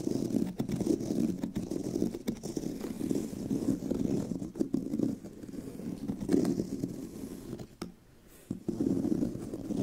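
Long nails scratch across the tan pebbled leather surface and seam of a brown leather handbag, making a steady, rough, muffled rasp with a low-mid body and occasional sharp ticks. The scratching briefly fades to near silence just before the 8-second mark, then resumes.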